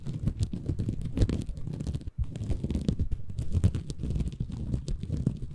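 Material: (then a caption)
Bamboo fiber. A small, soft, compressible green porous bamboo fiber sponge, held in both hands above a Tascam recorder, is scratched and squeezed by fingertips. This produces a dense, continuous stream of low, muffled crackling and rustling that pauses briefly just after two seconds before resuming.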